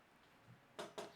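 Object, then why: Wooden surface. A wooden surface is knocked three times for luck, giving short, dry knocks with a hollow midrange tone around 680 Hz. Each knock dies away almost instantly over a quiet background.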